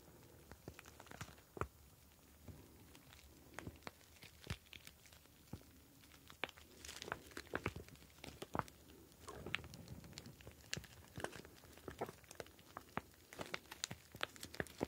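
A clear plastic ice pack filled with blue gel beads is squeezed and tilted with both hands. It makes quiet, steady crinkling and squishing with many short, sharp clicks and rustles, and the beads shift and crackle against the plastic throughout.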